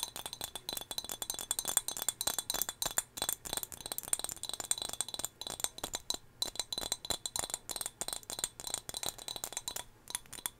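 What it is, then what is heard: Glass figurine, named only. A small turquoise glass whale figurine, also used to hold hair ties, is tapped repeatedly with quick, dense taps. It gives bright, glassy clinks that die away almost instantly.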